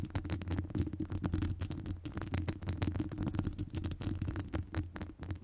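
Long nail tips scratch and tap across the top of a hollow metal wire-mesh microphone grille. The result is a dense, continuous stream of rapid scratchy clicks over a deep, boomy low rumble, with short crisp transients that die away almost immediately.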